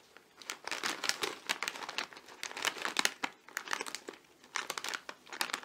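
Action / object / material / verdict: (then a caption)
scrape / metallized plastic chip bag / plastic film / none. A medium-sized, filled potato chip bag made of metallized plastic film, held over a gift box, is squeezed and crinkled by fingertips, with some light tapping. Bursts of bright, crisp crackling come in clusters separated by short pauses, with almost no low end and very little ring.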